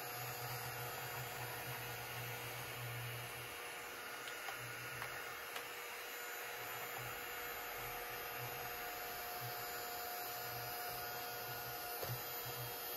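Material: Nothing is struck.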